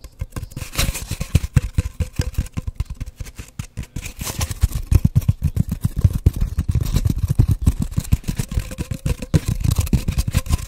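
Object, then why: Cardboard paper towel tube. Fingertips and nails tap and scratch rapidly on an empty, hollow cardboard paper towel roll held horizontally, with the tube moved toward the camera. A dense, irregular stream of short, hollow, low thuds runs throughout, with faint brighter scratching between the taps.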